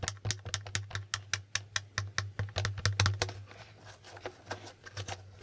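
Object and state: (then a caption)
Plastic game board tiles. A plastic Hangman board game is held at the side while fingertips repeatedly flip and tap its plastic letter tiles. About 22 sharp, bright clicks come in an uneven rhythm over a steady low hum, growing softer and sparser toward the end.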